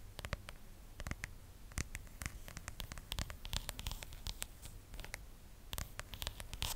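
A phone in a pink plastic case covered in stickers is held close to the mic while long nails tap and scratch the back of the case. Many quick, dry clicks and scratchy strokes come in bursts over a low rumble, each tap with a bright edge that dies away at once.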